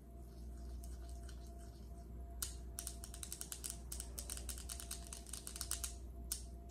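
The tips of long acrylic nails on both hands tap across a large, solid, polished speckled granite countertop. Faint taps give way after about two seconds to quick, bright, sharp clicks in rapid uneven bursts, each dying away almost at once. A steady low hum sits underneath throughout.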